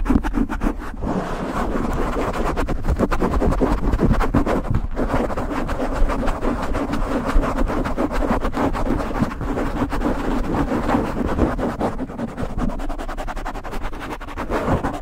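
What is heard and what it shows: Fingers grip and rub a black foam windscreen on a silver microphone while nails scratch across the foam. The result is a dense, continuous rustling and scratching with heavy low-end rumble and rapid crackly strokes, holding steady throughout with a slight dip near the end.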